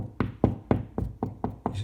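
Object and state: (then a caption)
Drywall over a stud (solid). Knocks on a drywall wall over a wooden stud give seven short, dull thuds with almost no ring, heard as the double thudding sound that means a stud is behind the drywall.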